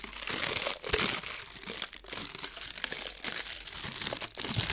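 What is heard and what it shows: A thin blue metallic foil sheet is twisted and scrunched between the fingertips of both hands, making a continuous bright, papery crinkling. It is made of dense, crisp crackles with very little low end, swelling and easing as the foil is worked.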